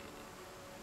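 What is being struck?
Nothing is struck.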